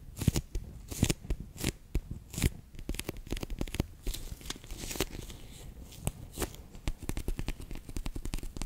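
A bear-shaped clear PVC pouch full of orange water beads is held in the hands, then squeezed and rubbed with fingertips and long nails. The result is a dense run of quick, dry crinkling taps and squishy clicks. The bursts are short and mostly low, with bright crackly edges.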